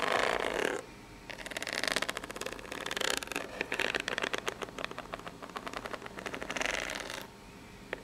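Long pink nails scratch the ribbed surface and edge of a corrugated cardboard box, probably empty and hollow. Bursts of bright, hissy scraping alternate with rapid dry ticking as the nails run over the ribs. There are brief quieter gaps near the one-second mark and toward the end, and a single sharp click just before the close.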